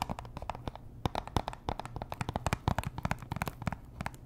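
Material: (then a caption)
Cardboard. Long nails scratch and tap the faces and edges of a small, hollow pink Chanel perfume box made of cardboard and wrapped in cellophane. The result is a rapid, irregular stream of short, dry clicks and crinkly scratches, each with a bright attack and a faint hollow low thump that dies away almost instantly.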